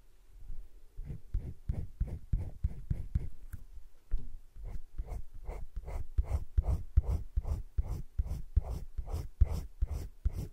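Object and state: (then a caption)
Colored pencil shading on a sketchbook page. A hand shades with a teal colored pencil on thick cream drawing paper in a spiral-bound drawing book lying flat, making short scratching strokes. Around twenty-two soft, dry, low, scratchy rasps repeat at a quick, slightly uneven pace, with no ring after each stroke. The strokes grow a little louder and more even after the first few seconds.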